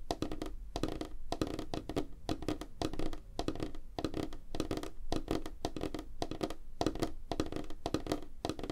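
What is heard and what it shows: Fingertips and nails of both hands tap fast on a flat, solid, light wooden tabletop. The result is a dense, continuous patter of short, dry knocks with a thick low body, a tone near 312 Hz, almost no bright content, and no ring.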